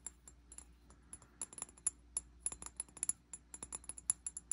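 Fingernails tap the glass body of a medium amber glass bottle with a green cap and sticky label residue, held in hand. A quiet, rapid, irregular run of bright, clicky ticks with almost no ring is heard over a faint, steady low hum.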